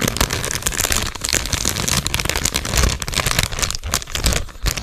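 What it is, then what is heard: Foil snack bag being crinkled. A medium sealed Cheetos chip bag of metallized plastic film, full of snacks, is held in both hands and crinkled and squeezed with the fingers. It makes a dense, continuous crackling crinkle with bright, sharp snaps over a low, soft rumble, lasting throughout the clip.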